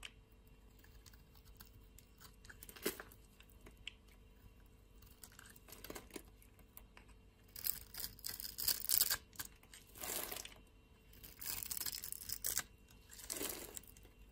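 A solid pink bar of soap is held in a hand with long nails while a metal utility knife blade shaves and scores its surface. Soft, bright scraping and crisp cutting strokes come in separate bursts, the louder ones near the end, over a quiet background.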